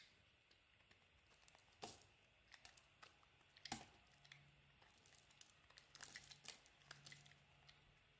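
A metal blade carves curls and chunks from the corner of a solid cream olive and argan soap bar, making quiet, bright crinkling scrapes and short crisp clicks. Two sharper snaps stand out near 1.8 and 3.7 seconds, and a faint low hum drifts in during the second half.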